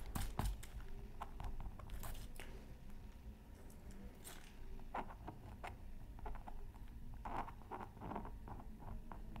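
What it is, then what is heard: Scratch art paper sheet. A pointed wooden stylus scratches a thin black-coated scratch art card from a Mythical Creatures Super Scratch Art Pad, held down by the other hand near a microphone that is not touched. Quiet, dry scratching strokes come in short, bright bursts over a low, steady rumble, each stroke dying away quickly.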